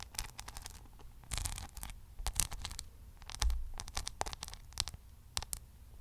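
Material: Rhinestone.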